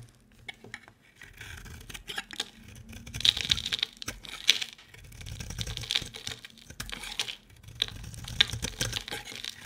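A solid, hand-sized bar of soap with a pink marbled coating and a white core is held in one hand and shaved with a utility-knife blade, breaking off crumbly flakes. Soft, dry scraping and crackling comes in bursts, mostly high and bright, with sharp little clicks and ticks that stop dead without ringing. Brief quiet gaps fall between the strokes.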